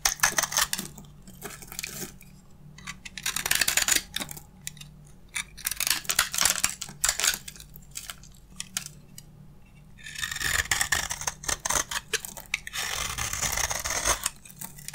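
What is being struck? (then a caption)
Bar of soap scraped with a metal blade. A solid beige bar of dry soap, held in one hand, is scraped repeatedly with a metal utility blade, sending flakes piling onto the wooden table below. Bursts of bright, crisp scraping and crunching come in uneven runs separated by quieter pauses, each scratch dying away almost instantly. A faint, steady low hum sits beneath the strokes.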